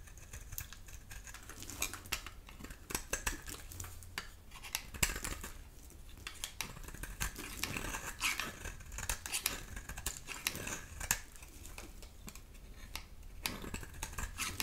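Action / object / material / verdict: scrape / hard bar soap scraped with a metal blade / soap / none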